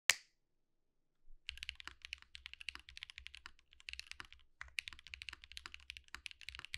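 Fast fingertip typing with both hands on a compact 65% Think6.5 V2 mechanical keyboard with white plastic keycaps and a light case with RGB underglow, resting on a desk mat. A single sharp click is followed by a pause, then dense runs of bright, crisp key clacks with brief gaps between bursts, over a faint low rumble.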